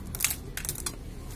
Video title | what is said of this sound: कोंच के बीज के फायदे ,,वीर्य होगा गाढ़ा और मर्दाना ताकत से भरपूर💪💪💪💪 | जब ये सूख जाए, बिल्कुल ऐसी आवाज करने लगे